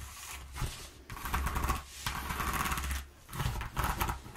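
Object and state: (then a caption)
Corrugated cardboard sheet. Long nails scratch and tap across the ridges of a flat sheet of exposed, ribbed corrugated cardboard resting on a wooden table. Rough, crackly scraping comes in several bursts separated by brief quieter gaps, with a papery rasp around 1 kHz over a low, dull rumble.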